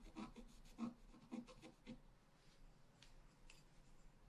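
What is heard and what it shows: A pointed wooden stylus scratches across a flat, solid black-coated scratch-art card resting on a table. It makes a series of short, dry, raspy strokes with a brief bright edge. The first few strokes are the loudest, and the later ones fade to softer scrapes.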